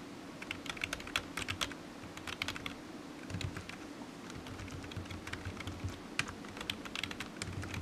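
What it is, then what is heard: Plastic computer keyboard being typed on. Fingertips of one hand tap the keys of a solid, black low-profile plastic computer keyboard resting on a desk mat. Soft, bright clicks come in quick, uneven bursts over a steady low hum, with each tap dying away almost at once.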